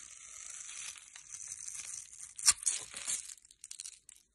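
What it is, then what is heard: Bar soap being cut. A metal blade cuts a grid into a solid rectangular beige bar of soap held in the hand and scrapes off small cubes. A steady, bright, dry scraping and crackling builds, with a sharp louder crunch midway. It then breaks into scattered small crumbling ticks that fade out.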